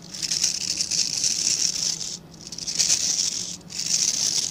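Fingertips rub and scratch along the dense, dark synthetic bristles of a hand-sized plastic-backed scrub brush. The result is a bright, hissing, crackly scratching concentrated in the high range with almost no low end. It comes in three sustained passes separated by two brief quiet dips.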